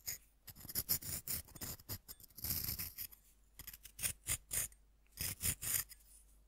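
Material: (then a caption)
Compressed powder. A metal fork scratches and scrapes the flattened face of a solid, roughly fist-sized pink compressed-powder bath bomb held by hand, letting powder fall onto a wooden board. A series of short, bright, gritty scraping strokes comes in quick bursts with brief pauses between. Each stroke stops dead with no ring.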